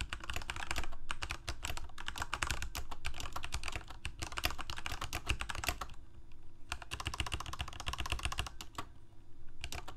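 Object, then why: Mechanical keyboard with plastic keycaps. Both hands' fingertips type on a Corsair K68 full-size mechanical keyboard with plastic keycaps, Cherry MX Red switches and a backlight, resting on a desk. Rapid, uneven keystrokes make short, bright plastic clacks over a steady low hum. The typing pauses briefly around the six-second mark, then continues at the same quick pace.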